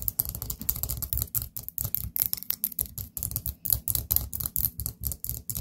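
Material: Ceramic.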